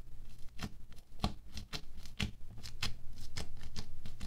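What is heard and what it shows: A wooden stick repeatedly pokes down into a thin orange sheet of bead foam clay resting on a white table. Each poke gives a short, crisp crackling tap with bright edges, landing at a loose, uneven pace of about three to four per second over a low, steady hum.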